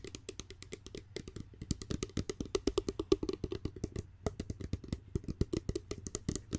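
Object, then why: Glass spray bottle. Long nails rapidly tap and handle a clear, medium-sized, hollow glass spray bottle with a pump cap, partly filled and held close to the microphone. The result is a quick, steady stream of short, dry clicks with a hollow tone around 380 Hz and a bright tick on each strike, over a low background rumble. The taps stop almost at once, with barely any ring.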